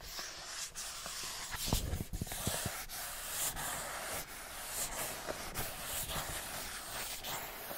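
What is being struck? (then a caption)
Printed cardboard box. A hollow printed cardboard product box is held in the hands while fingernails tap and scratch across its surface. Soft, dry scratching and brushing fill the clip, broken by several light tapping clicks with low, hollow thumps. The sound is quiet and close, with a bright, papery texture on top.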